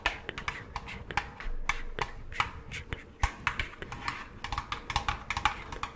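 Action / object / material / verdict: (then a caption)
tap / hollow plastic pumpkin-shaped candy bucket / plastic / none. Long claw-like nails on gloved hands tap quickly and irregularly on a medium-size, orange, hollow plastic jack-o'-lantern candy bucket that appears empty. Each tap is a short, dry, bright click with a hollow plastic tone around 1.2 kHz, fading almost at once over a low background rumble.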